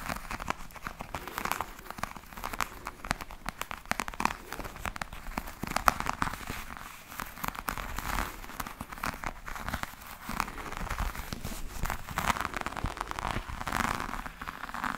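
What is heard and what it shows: Long painted nails scratch and tap a black, glossy, croc-textured faux leather vanity case, a handheld-size hard hollow shell with a metal clasp. A steady stream of dry, crackly scratching comes through, broken by quick, light taps that stop dead. Much of the sound centres in the low-mid range with bright edges.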